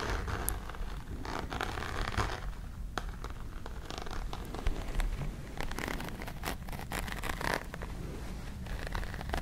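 Long pink nails scratch over the textured woven fabric covering of a small, hollow, dark grey hard-shell case. The result is a steady, close, rustling scrape made of many quick overlapping strokes with a low, hollow undertone and brief brighter scratchy flicks.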